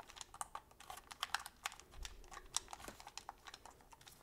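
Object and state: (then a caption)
Plastic game controller buttons clicking. A black, hollow, handheld Sony PlayStation controller made of hard plastic is held in both hands while thumbs and fingertips repeatedly press and click its buttons and sticks. The result is a quiet, irregular run of short, sharp, bright plastic clicks and taps that die away instantly, with almost no low end.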